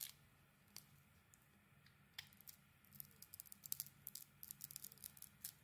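A metal blade shaves the glitter coating and body off a solid green bar of soap. After a quiet start with a faint low hum, crisp, bright scraping crackles and clicks come in short bursts, growing denser and more frequent through the second half.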